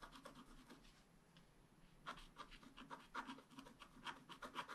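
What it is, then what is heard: Scratch-art card being scratched. A wooden stylus scratches repeated strokes into the black coating of a flat scratch-art paper card. Dry, raspy scratching is heard, centered around 1 kHz with bright edges; it is soft and steady for the first two seconds, then the strokes grow louder and more distinct. Each stroke stops short, with no ring.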